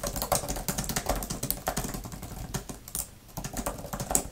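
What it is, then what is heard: Plastic keyboard cover being typed on. Fingertips with long nails type quickly on a grey, thin plastic tablet type-cover keyboard with flat plastic keys and a fabric surround. A rapid, steady stream of dry, clicky taps with bright, high nail ticks sits over soft low thumps, each stopping almost at once. The typing briefly thins just after the three-second mark before picking back up.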